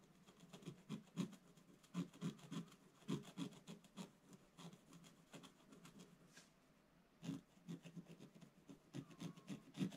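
A wooden stylus held upright scratches vertical strokes into the black coating of a scratch-art paper page lying in a flat book. Quiet, dry, rasping scrapes come in quick, uneven bursts with a dull low-mid body. There is a brief lull before the scratching resumes.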